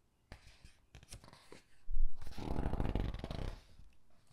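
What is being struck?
Paper hardcover book.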